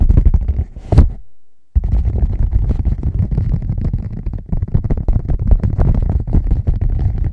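Rapid fingertip tapping on a leather bag makes a dense run of soft, dull, low thuds. The thuds break off once for about half a second near the one-second mark, then resume at a fast, uneven pace through the end.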